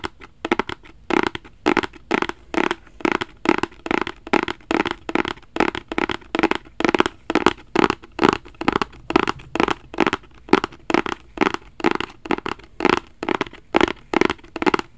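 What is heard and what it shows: A black rigid cardboard Versace gift box, held flat in both hands, is scratched and tapped with fingertips. The result is a steady, fairly irregular series of short, dry scratchy taps, each with a hollow midrange body, a bright papery edge, and almost no ring.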